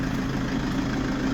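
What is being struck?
Nothing is struck.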